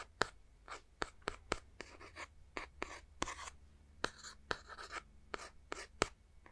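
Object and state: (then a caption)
Plastic game console shell. A handheld Nintendo Switch with green and red Joy-Cons has its plastic back shell tapped and scratched with a fingertip and short nails close to the mic. Sharp, dry clicks that die away almost instantly alternate with short, bright, scratchy rubbing strokes, all at a quiet level over a faint low hum.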